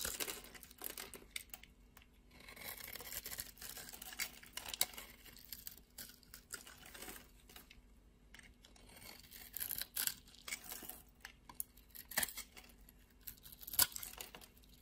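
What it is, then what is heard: Soap bar being shaved. A solid, opaque white soap bar held in the palm is scored and shaved into flakes with a utility knife blade. The result is quiet, dry, bright scraping and crackling, with irregular bursts of shaving and a few sharper, louder cuts standing out.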